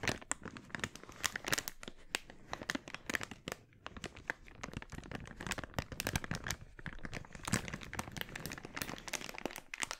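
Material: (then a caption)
Polyethylene. An empty, glossy red, thin polyethylene mailer bag is crumpled and then opened out in both hands, with fingers crinkling and rustling the plastic. Dense, sharp crackles and crinkles run steadily throughout, bright and papery with quick, dry snaps and little low end.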